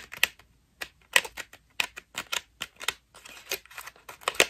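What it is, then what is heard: Foam bath loofah being scratched. A white ruffled foam bath loofah, held in both hands, is scratched rapidly with long pink nails. The result is a series of short, dry, crackly scratching bursts with bright, hissy texture, no low end, and almost no ring between strokes.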